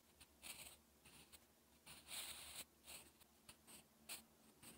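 A sharpened graphite pencil writes slow strokes on a lined, textured paper sheet, scratching the surface. Quiet, bright, hissy scrapes come in short bursts separated by near-silence, with almost no low end.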